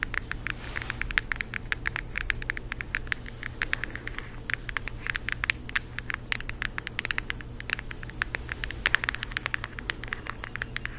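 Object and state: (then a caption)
Cardboard eyeshadow palette. A flat rectangular cardboard eyeshadow palette with a floral print and a hollow compact case is held in both hands and tapped and scratched with long acrylic nails. Many quick, dry, bright clicks come in an irregular patter over a steady low hum and soft scratchy noise. Each tap dies away almost instantly.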